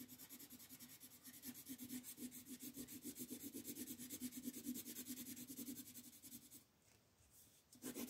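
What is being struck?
Wooden colored pencil rubbed on a paper coloring page over a wooden table.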